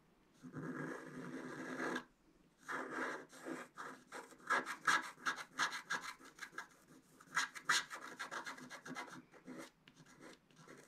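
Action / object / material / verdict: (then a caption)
scrape / black-coated scratch art paper card scratched with a wooden stylus / coated paper / none. A wooden stylus scratches the coating of a flat black-coated scratch art card. A long, steady rasping stroke is followed by a brief pause, then a run of short, uneven scratching strokes with a bright, papery hiss.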